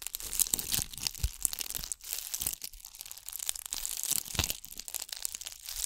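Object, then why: Ball covered in bugle beads. Long acrylic nails scratch a hand-sized gold ball covered in bugle beads, held just above the microphone. It makes a dense, bright crackling and crinkling rasp. Quick uneven bursts of scratching keep it going with almost no ring after each stroke.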